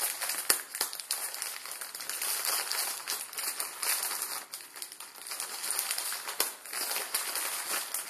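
Fingertips crinkle and pinch the edge and body of a plastic instant ramen packet, a plastic film with dry noodles inside. The result is a steady, bright, crackling crinkle with no low end, and a few sharper snaps rise above the dense rustle.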